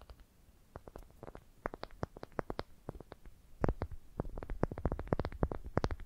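Long dark painted nails tap and scratch the surface of a smooth, light-colored, solid wooden ball about palm size, held in both hands. Rapid, irregular dry clicks with faint scratching come in quiet bursts at first, then grow louder and denser after about three and a half seconds. Each tap is short with almost no ring.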